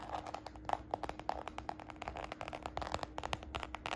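Long nails scratch and fingertips tap quickly across the side panel of a small, hollow red croc-embossed glossy faux-leather patent handbag. The result is a rapid, uneven string of short, dry clicks and scrapes with a slight hollow, mid-pitched knock, over a faint steady low hum.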